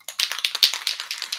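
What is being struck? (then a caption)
Metal spray paint can with metal mixing ball. A can of Design Master 14 karat gold metallic spray paint is shaken, and the metal mixing ball inside rattles in about a dozen quick, bright clicks. The rattle is high-pitched and dry, with no low end, as the ball stirs the paint together inside the can.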